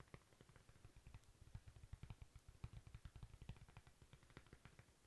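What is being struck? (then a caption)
Thin flat cork coaster. A thin, flat, solid cork coaster is tapped and scratched with long pink nails. The result is a quiet, rapid, uneven run of soft, dull, low thuds that stop almost at once, with faint scratchy texture between them.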